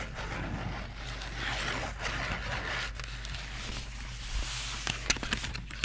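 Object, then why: Small cardboard marker box. A small, hollow Crayola cardboard marker box is turned in the hands while long nails tap and scratch its front, sides and back. Soft, bright scratching and rustling sits over a steady low hum, with a few sharper, crisp taps toward the end.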